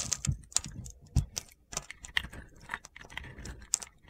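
A metal box-cutter blade scrapes pre-scored cubes off a solid cream soap bar with a purple glitter edge, held in a hand. Sharp, crunchy clicks and gritty scrapes come in an irregular run, with bright high-pitched snaps over dull low thumps as the cubes break away.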